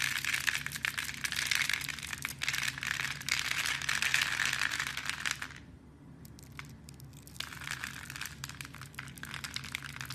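A small metal blade scores and carves a solid, hand-sized blue and white striped soap bar held in fingers with long painted nails, flaking off small cubes. Dense, bright, crisp scraping and crackling runs steadily for about five and a half seconds, then drops to near quiet before resuming more softly with scattered snaps.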